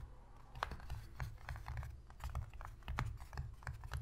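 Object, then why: Cardboard box lid. Long pink pointed fingernails of both hands tap quickly on the inner surface of an empty, shallow white cardboard box lid. The result is a steady run of crisp, dry clicks centered around 1.2 kHz, with a soft low thump under each tap. The taps stop short with no ring.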